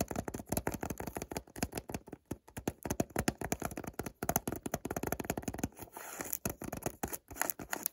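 Fingertips and short nails scratch and tap the side of a small, hollow white cardboard perfume box printed with ingredient text and a barcode. A rapid, dense run of dry, papery taps and scratches with a hollow low-mid body, each tap dying away almost at once. Near the end the sound briefly turns to a softer, steadier scraping before the taps resume.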